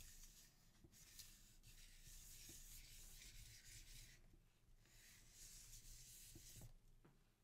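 Palms and fingertips steadily rub and burnish a sheet of printing paper lying flat on an inked linoleum block. The result is a soft, dry swishing with a bright hiss that swells and fades in long strokes over a low, quiet rumble, with a few faint taps along the way.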